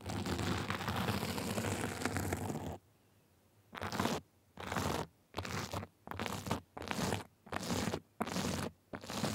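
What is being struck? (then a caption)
Sequin and glitter fabric sleeve. Small white plastic tools scratch a sequin and glitter fabric sleeve, giving a long, continuous crunchy rasp for nearly three seconds. After a brief silence, the scratching comes in short bursts with quiet gaps between them. The sound is broadband and gritty, with a low rumble and a bright, crinkly top.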